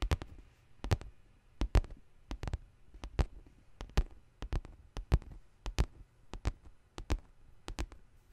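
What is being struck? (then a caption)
Faux leather handbag. Long green nails tap and scratch the side panel of a large black pebbled faux leather handbag with metal rings on its handles. Short, dull, low taps come in quick clusters at a steady pace, each with a brief bright click and a very short decay. Faint scratching fills the quiet gaps between them.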